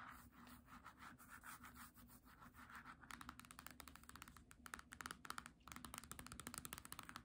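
Long nails tap and scratch the glossy paper cover and page edges of a small, solid green hardcover book held flat. Soft, papery scratching for the first three seconds gives way to a brighter, denser run of quick, dry taps and scrapes with no ring. A faint steady low hum sits underneath throughout.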